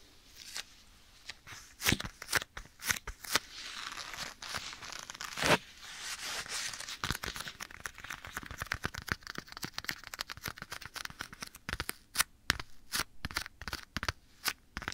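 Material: Leather.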